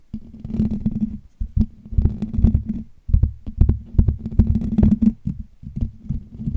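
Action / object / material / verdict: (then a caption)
tap / metal wire-mesh microphone grille / metal mesh / none. Fingertips tap and scratch the hollow metal wire-mesh dome grille of a Blue Yeti USB microphone, close to the capsule. The result is a run of deep, boomy thumps mixed with dense scratchy rustling over a steady low droning hum, with brief gaps where the contact stops.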